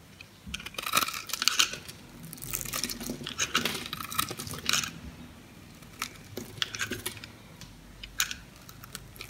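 A metal utility knife carves the scored surface of a solid yellow soap bar held in the hand, flaking off small cubes and slivers. Crisp, bright scraping and crackling cuts come in dense bursts through the first half, then thin out into sparser, sharp ticks and crunches.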